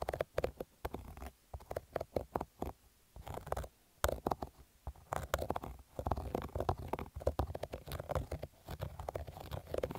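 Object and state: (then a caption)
Cotton baseball cap being scratched. Fingernails scratch over the embroidered logo and stitched fabric of a black cotton baseball cap, making a dense run of short, dry scratching and rasping strokes. The sound is muffled and low-heavy, with little high end, and stops and starts in bursts through the clip.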